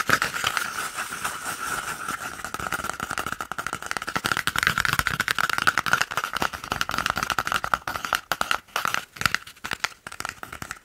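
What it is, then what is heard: Empty cardboard paper roll tube. An empty, hollow, hand-sized brown cardboard toilet paper roll tube is held in one hand and scratched and rubbed along its surface with the fingertips and nails of the other. Fast, dense, dry scratching and tapping crackles continue throughout, with a steady resonant tone near 1.4 kHz and bright, papery texture but little low end.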